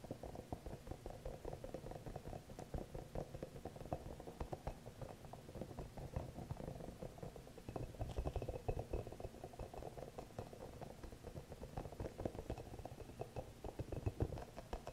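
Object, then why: Rubber spiky massage ball. A small green hollow rubber massage ball with soft spikes is held close while fingertips and nails tap and scratch at it. The result is a steady stream of quiet, soft, low, dull tapping and rubbing with brief scratchy ticks, with no ringing after each touch.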